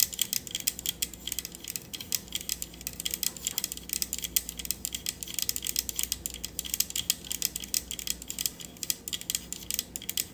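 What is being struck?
Metal USB microphone body.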